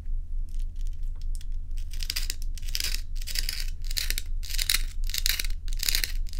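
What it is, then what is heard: Ice cubes, scratched and tapped. Long nails scratch and tap solid ice cubes held in the hand, making bright, crackly scraping bursts that repeat in a loose rhythm with faint clicks between them. A steady low hum runs underneath throughout.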